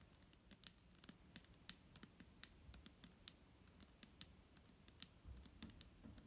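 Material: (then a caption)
Plastic. A large, clear plastic micellar water bottle full of liquid is held in hand while long nails tap and scratch its front. The result is a quiet run of sharp, bright clicks with a low, soft scratching underneath.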